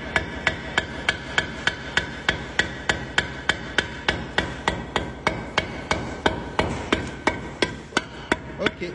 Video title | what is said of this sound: Morgane réalise sa première coupe de parpaing | le creux comme ça c'est dire qu'il peut casser il peut fissurer